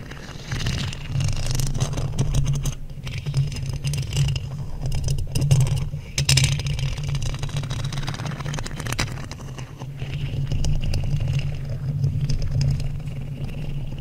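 Two thin wooden sticks, held by long nails, scrape across a hollow black metal mesh microphone grille. The result is continuous scratchy, rasping friction over a steady low hum, with brief bright streaks where the sticks catch the mesh. The loudness swells and dips across the clip without clear separate hits.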